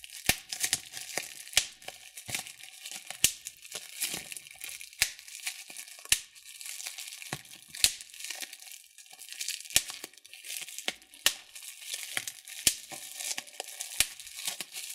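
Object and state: Plastic bubble wrap.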